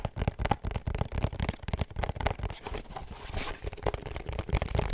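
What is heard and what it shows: A small, hollow pink cardboard perfume gift box with a black ribbon is held in the hands and tapped and scratched with fingertips and short nails. The result is a rapid run of dry, muffled taps, mostly low and thumpy, with quick scratchy rustles in between.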